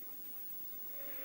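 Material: Nothing is struck.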